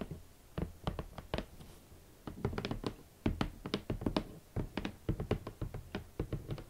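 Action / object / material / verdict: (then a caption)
tap / cardboard shoe box lid / cardboard / none. Long nails and fingertips tap a large, rigid red cardboard shoe box lid, which sounds hollow. The result is an uneven series of quick, dry knocks and thunks with a bit of bright nail click, each dying away almost at once.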